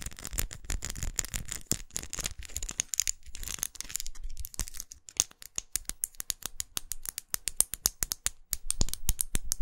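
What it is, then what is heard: Plastic lipstick case. Long acrylic nails tap and scratch a small red faceted plastic lipstick tube held horizontally with its end visible. Rapid, irregular bright clicks mix with soft scratchy rubbing, each tap short and dry with almost no ring. The taps get sharper and more distinct toward the end.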